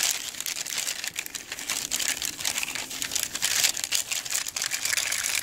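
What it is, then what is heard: Bundle of dry cinnamon sticks. Fingertips strum and scratch across the ends of a hand-held bundle of long, dry, hollow cinnamon sticks. The result is a steady stream of bright, crinkly rubbing and scratching sounds, mostly high-pitched with almost no low end.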